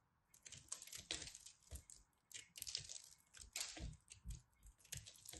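A solid blue pressed soap ball is scraped and cut with a craft knife, and crumbs fall off as it crumbles. The sound is a quiet run of dry, bright scraping and crunching bursts with short low thuds.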